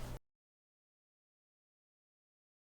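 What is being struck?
Nothing is struck.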